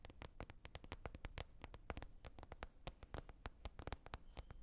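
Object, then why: Lid. A lid is tapped in a quick, steady stream of short, dry taps. Each tap is a crisp broadband click with a soft low thump underneath, and the taps die away almost at once with no ringing.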